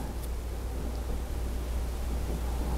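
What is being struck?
Nothing is struck.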